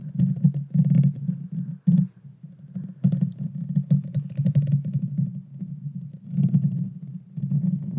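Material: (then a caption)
Metal mesh. Long painted fingernails scratch the bare metal mesh grille of a small Blue Yeti Nano USB microphone with a hollow head. The scratching comes as a close, heavy, boomy rumble centred low around 150 Hz, with faint crackly ticks on top. It runs in dense bursts broken by brief quieter dips near two seconds and just before seven seconds.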